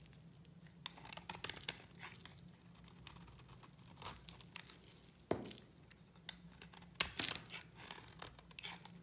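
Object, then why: Bar of soap. A hand-sized solid pink bar of dry soap is scraped with a utility knife blade into thin shavings. The sound is quiet, dry, bright crunching and crinkling in short irregular bursts, with sharper scrapes around the middle and a louder cluster near the end. A faint steady low hum runs underneath.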